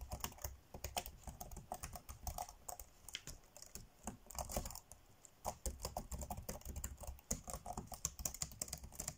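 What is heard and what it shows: Fingertips tap fast on the dark grey plastic chiclet keys of a laptop keyboard. The result is a dense run of short, dry clicks with soft low thumps and bright clacks, with a brief pause midway before the typing resumes.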